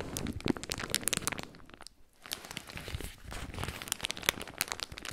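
A small piece of white paper tissue, held in both hands close to the microphone, is crumpled and torn with the fingers. Dense, bright crinkling and crackling snaps, with soft tearing, fill the clip. There is a brief quiet pause near the two-second mark before the rustling resumes.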